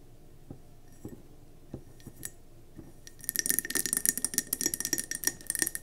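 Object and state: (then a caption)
Mercury glass candle jar. Long fingernails on both hands tap around a gold-speckled mercury glass candle jar with a gold lid, filled with yellow wax and sitting on a table. A few sparse, bright clicks give way after about three seconds to a fast, dense flurry of sharp glassy taps with a faint ringing tone.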